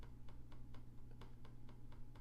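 A loose trackpad on a Lenovo Legion 5 Pro laptop, sitting unevenly and loose on one side, is tapped nine times in a steady rhythm, giving short, dry, clicky ticks that rattle briefly over a constant low hum. The trackpad can be seen moving, so the looseness is a defect rather than a design choice.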